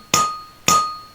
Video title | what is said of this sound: Vibration damping | this ball because it's not damp will ring